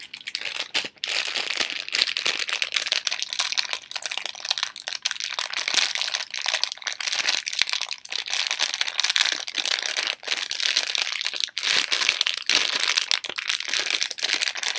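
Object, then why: Thin plastic film candy bag. A torn-open, partly empty Halls plastic film candy bag, shown from its printed back, is crumpled and crinkled between fingertips and long nails. The result is a continuous, dense, bright crackling with many quick overlapping snaps and almost no low end.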